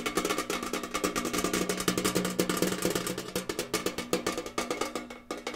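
A tall, rectangular, hollow printed metal cereal tin, held up with its picture-covered back side facing out, is tapped rapidly with fingers and nails. The result is a fast, steady stream of sharp, hollow clicks and knocks with a metallic ring centered around 330 Hz, each tap dying away almost instantly.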